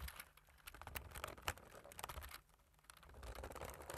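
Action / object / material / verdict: tap / plastic computer keyboard / plastic / none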